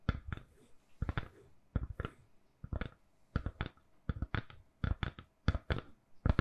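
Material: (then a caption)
Silicone. Long nails tap a lilac, silicone-covered, hand-sized phone case on a solid phone. The result is a quick series of soft, dull clicks in small clusters, with a low thud under each tap and almost no ring.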